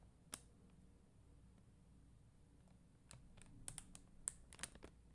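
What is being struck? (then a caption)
Plastic rhinestone gems on a sticker sheet. Long dark-green nails tap and scratch a flat sheet of red and clear faceted plastic rhinestone gems on a white backing. A single sharp, bright click comes early, followed by a quiet stretch with a low background hum, then a quick, uneven cluster of crisp, high tapping and scratching clicks near the end. Each click is dry and ends almost instantly.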